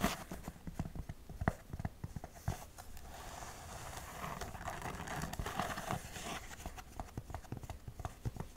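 Long acrylic nails tap and scratch the shaft of a tall beige perforated suede heeled boot, held up in hand, hollow and empty. Quick, dull, low taps come in irregular bursts, with a stretch of soft, continuous scratching in the middle. Each tap is muffled and dies away almost at once.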